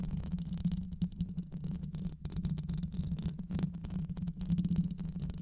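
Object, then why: Microphone with metal mesh grille. Long nails scratch the metal mesh grille of a black hollow microphone throughout. A dense, continuous low rumbling scrape with a steady hum near 172 Hz, full of rapid rough ticks and almost nothing in the highs.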